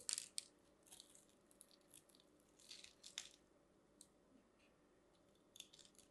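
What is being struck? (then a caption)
Bar of soap cut with a metal knife. A metal craft knife carves into the surface of a solid, hand-sized green and white striped bar of dry soap held in one hand, flaking off small cubes. Quiet, dry, crunchy scraping cuts come in short, bright bursts with soft gaps between them. Each cut stops almost instantly, with no ring.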